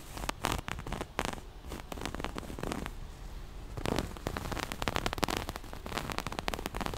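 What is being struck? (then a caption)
Cloth pouch with zipper. Long nails scratch the surface of a small, soft, hollow floral-print cloth pouch and rub along its black zipper edge. The result is a dense, fast run of dry crackling scrapes with bright bursts and a soft low rumble underneath, pausing briefly midway before picking up again.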